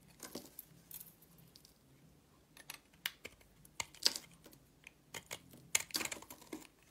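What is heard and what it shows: A solid rectangular purple soap bar held in the hand is shaved with a box-cutter blade, producing an irregular series of short, crisp, crackly scrapes. The sound is quiet, dry and bright, with each scrape dying away almost at once and long pauses between them.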